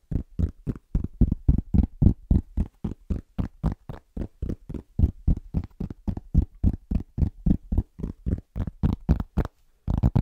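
Both hands' fingertips tap rapidly on a large, round, flat, solid cork trivet held upright, producing about 40 short, dull, low thuds at a fast, fairly steady rhythm. Each tap is soft and deep, with almost no ring and little bright content.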